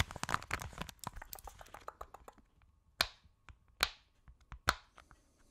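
A hand-sized purple octagonal silicone push-pop fidget toy with hollow bubbles is held in both hands and tapped and scratched with long acrylic nails. A quick flurry of light, crisp ticks and scratches slows into sparser taps. Three louder, sharp snapping clicks ring briefly and brightly before fading.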